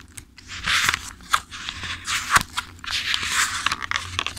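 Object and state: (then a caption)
Paperback book pages. A thick-paper paperback book is held upright while fingertips riffle and flip through its pages. Bright, papery rustling comes in swelling bursts, broken by sharp crisp ticks as individual pages snap past, with very little low end.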